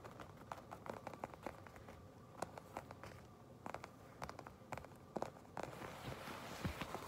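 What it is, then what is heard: Leather jacket. A shiny black leather jacket has its surface scratched and tapped with long pink nails. Soft, dry scratching and crackling run under many quick, sharp taps that stand out in clusters. The sound is quiet and close, with a brighter rustle building near the end.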